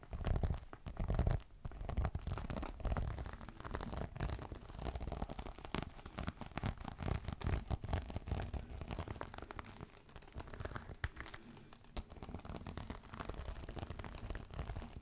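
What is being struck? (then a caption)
Embossed faux leather clutch. A green crocodile-embossed faux leather clutch is held upright in one hand and scratched with the long nails of the other hand. The result is a steady, irregular stream of dense scratching and rubbing that is mostly low and rumbly, with a few louder bursts near the start.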